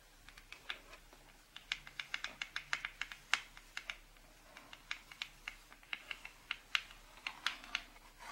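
Long pink nails and fingertips tap on the front cover of a printed cardboard box for a charcoal drawing set, lying flat on a wooden table. About thirty quick, dry, bright clicks come in irregular bursts, each dying away almost instantly with hardly any low end.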